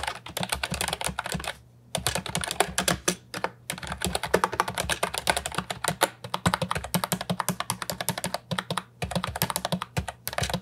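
Both hands type with their fingertips on an Ajazz 308I, a compact hollow plastic keyboard with round typewriter-style keycaps. The result is a rapid stream of short, clacky key strikes with brief pauses between bursts, over a faint steady low hum.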